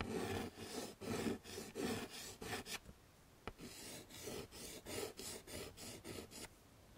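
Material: Chalk.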